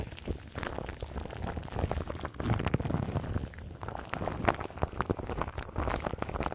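Long nails scratch crinkly plastic film wrapped around the grille of a large microphone. The result is a dense, low-heavy crackle of many quick, dry crinkles and scratches with occasional sharper pops.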